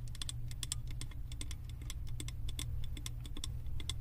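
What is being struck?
Wax-filled glass candle jar tapped with acrylic nails.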